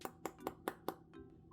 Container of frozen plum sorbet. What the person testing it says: It sounds solid, but once you get a spoon in it you can kind of get a good scoop out of it